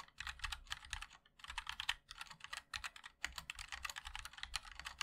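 Fingertips of both hands type continuously on a compact 60% MOD-L mechanical keyboard with a black case, white and black plastic keycaps and linear switches. Rapid, bright plastic clacks come in dense bursts with a few brief pauses, each keystroke short and dry with a soft low thump underneath.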